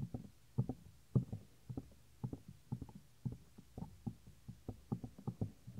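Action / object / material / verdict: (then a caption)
tap / silicone ear of a binaural microphone / silicone / none. Fingertips press and tap the earflap of a white silicone ear on a 3Dio binaural microphone. About fifteen dull, low, knock-like thuds land at an uneven pace, each dying away quickly with no high or bright content.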